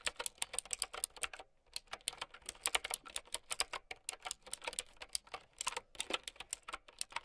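Fingertips with long nails type on a mint and white plastic typewriter-style mechanical keyboard with round keycaps, and the hands come to rest on the keyboard at the end. About forty sharp, bright clicks arrive in quick irregular bursts, with a brief pause early on; each click dies away almost instantly, with hardly any low end.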